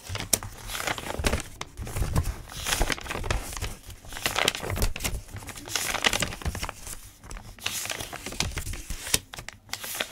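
Fingertips rub and flip the pages of a thick, open paper notebook, making continuous dry rustling and crinkling with bright, papery edges. Soft low thumps come from the pages settling as they turn.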